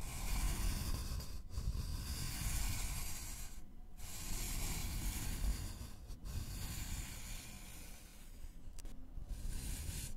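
A thin, flat, solid wooden notched trowel board is rubbed and scratched lightly with fingertips and nails. The result is a steady, soft, hissy scraping with a low rumble underneath, broken by a few brief pauses before the rubbing resumes.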